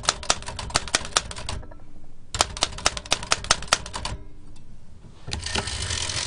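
Fingertips rapidly tap the round keys of a large, antique black metal L.C. Smith & Corona typewriter with a hollow mechanical body and paper loaded. Two quick bursts of sharp, bright clacks ring out with a faint metallic rattle, separated by a short pause. The clip ends in a steady, brighter hiss-like wash of sound.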